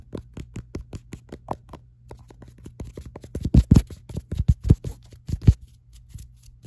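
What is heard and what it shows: Long nails tap and scratch quickly across the ribbed back of a black silicone phone case, producing a rapid, uneven run of about thirty short, dry clicks and scrapes. The taps grow louder and denser in the middle before easing off, over a faint steady low hum.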